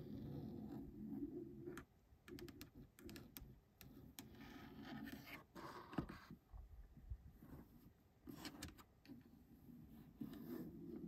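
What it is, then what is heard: Plastic car grab handle tapped and scratched with nails. Long acrylic nails tap and scratch along a grey moulded plastic grab handle, a hollow shell set into the headliner of a Mercedes EQB car. Quiet, rasping scratches run under a low hum, broken by sharp, short clicking taps.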